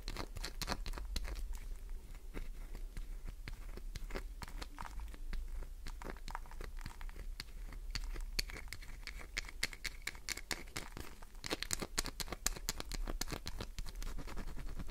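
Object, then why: Glycerin soap bar. A solid green glycerin soap bar is held in the hand while long nails scratch and tap its heavily scratched face. Dense, rapid dry scratches and sharp clicking taps with a crisp, bright crinkle continue throughout, growing busier near the end.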